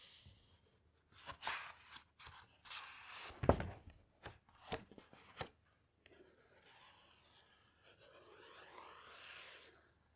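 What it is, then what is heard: Paper pages of a hardcover book. Fingertips rub across and turn the heavy glossy pages of a large hardcover coffee table book. Dry, crisp rustles and short page-flip swishes come through in the first half, with one sharp, louder snap of paper near the middle. It then settles into a softer, continuous brushing rub across the page surface.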